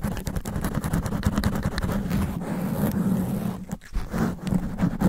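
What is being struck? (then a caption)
Foam microphone windscreen. Extra-long black nails scratch and rub fast and aggressively on the sponge foam windscreen of a studio microphone. The result is a dense, low, rumbling scratching with rapid bursts of scraping, a brief dip in level just before the four-second mark, then renewed rubbing.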